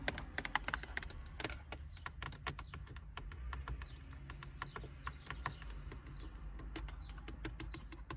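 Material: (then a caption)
Hard plastic. Long painted acrylic nails and fingertips tap and scratch the hard plastic climate control panel of a car's dashboard, a solid fixed panel with round knobs and buttons. A steady stream of quick, sharp, dry clicks runs throughout over a constant low rumble.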